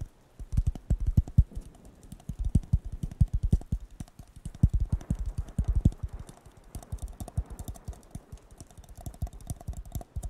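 A blue disposable paper cup, hollow and empty, is held with its bottom toward the mic and tapped rapidly with fingertips and nails. The result is a quick run of soft, dull, low thumps that die away instantly, with bursts and brief pauses throughout.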